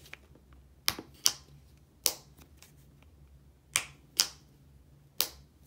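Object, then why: Plastic body wash bottle tapped with fingernails. Long nails tap six times on a medium-size, hollow Olay plastic body wash bottle with a yellow cap. Each tap is a sharp, bright click that dies away almost at once, with irregular pauses between taps over a faint low hum.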